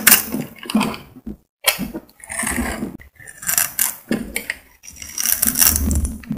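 A solid pink bar of soap held in the hand is scraped and shaved with a metal utility blade, peeling off curls and crumbs. Bright, dry scratching bursts come in irregular runs separated by brief silences, with a soft low rumble beneath the crisp high rasp.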